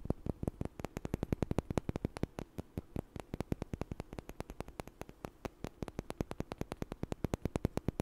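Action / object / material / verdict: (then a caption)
knock / small light wooden blocks / wood / none. Two small, solid, light wooden blocks are knocked together and tapped with fingers close to the mic. A steady run of about 66 short, dry clicks sounds over eight seconds, each one sharp and quickly gone, with a low, hollow body and a faint steady hiss underneath.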